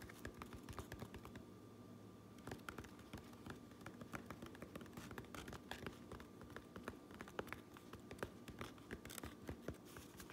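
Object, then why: Fabric cap brim and lining. Fingernails scratch and tap on the underside of a fabric trucker cap, across its grey lining and the underside of its red fabric brim. The result is a quiet, continuous run of soft, dry scratches and quick taps that die away almost instantly, over a faint steady hum.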